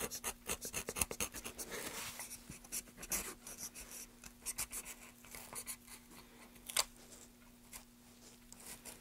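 A gloved hand carves a solid, light wooden block held upright, using a knife in short scraping strokes. The result is a series of dry, bright, rasping scrapes with quick decays, set against a faint steady low hum.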